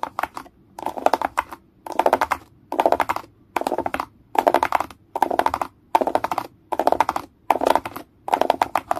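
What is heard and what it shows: Fingertips and nails tap and scratch the rows of hollow dome bumps on a grey plastic egg tray. Short bursts of quick, dry clicking and scratching repeat with brief silent gaps between them. The sound is hollow and midrange with a bright crackly edge and no low rumble.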